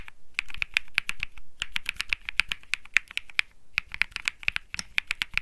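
Fingertips type continuously on a cream mechanical keyboard with plastic keycaps. The result is a rapid stream of sharp, bright clicks and clacks, each centered around 2.5 kHz with a dull low thump beneath. Every keystroke dies away almost instantly, with brief pauses between bursts.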